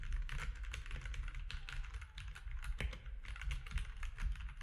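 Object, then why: Plastic mechanical keyboard. Fingertips of both hands type steadily on a compact mechanical keyboard with gray and cream plastic keycaps, producing a fast, continuous stream of short, bright plastic clacks. A steady low hum runs underneath the typing throughout.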